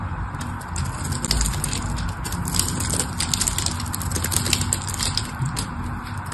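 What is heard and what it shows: A metal tool scores a grid into a solid pink-and-white striped bar soap held in the hands, making a steady run of crisp, dry scraping and crunching clicks with bright high edges over a low rumble. Small cubes of soap crumble off as it cuts.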